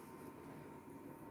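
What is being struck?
Nothing is struck.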